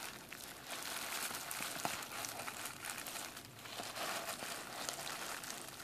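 A sheet of clear plastic bubble wrap, rolled and held up, is crinkled and popped between fingers. A steady, bright crackling rustle runs throughout, with small sharp pops poking through and one louder snap just before the two-second mark.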